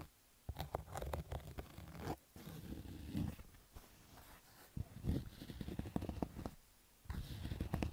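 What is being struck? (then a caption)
Cotton fabric baseball cap. Fingertips and nails scratch the black stitched fabric crown of a cotton baseball cap, making rough, low-heavy scraping bursts with sharp clicky edges. The scratching comes in uneven bouts separated by brief quiet pauses.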